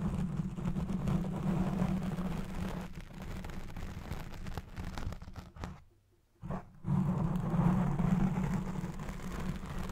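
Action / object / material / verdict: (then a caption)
scrape / foam microphone windscreen / foam / none. Fingertips and nails scratch the top and sides of a black foam windscreen on a Blue Yeti Pro microphone, producing a dense, rumbling, crackling scratch concentrated in the low range with a steady hum-like tone near 180 Hz. The scratching continues almost nonstop, drops to near silence for a moment around the six-second mark, then resumes at full strength.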